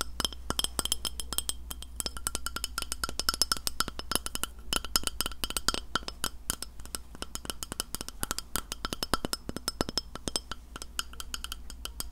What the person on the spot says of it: 03:23 Tapping a Glass Plate